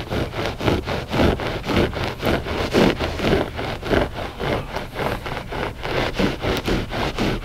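Short fingernails scratch the pile of a flat gray loop-pile textile rug that is solid and soft. The result is a steady run of rough, dull scratching strokes, about two per second, each a brief rasping burst with a low, muffled body and little bright edge.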